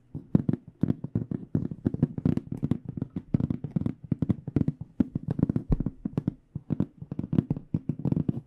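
Long fingernails tap quickly and steadily on the black panel face of an AKG aluminum-framed hard microphone case held flat. Each tap is a short, dry click with a low, hollow body and almost no ring. The taps run as a continuous, uneven patter.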